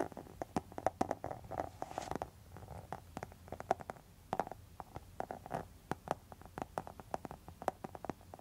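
Long metal nail tips scratch and tap across a pink textured faux leather wallet, making a rapid, uneven series of short, sharp clicks with quick scrapes between them. The clicks are crisp and bright, with a faint ringing midrange tone, and each one dies away almost at once over a low, quiet background.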